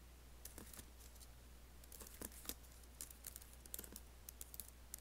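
Fingertips type on an Apple laptop keyboard with black plastic keys and an aluminium body, producing about eighteen quiet, sharp clicks at irregular intervals. Each click is brief and bright with almost no ring, over a steady low hum.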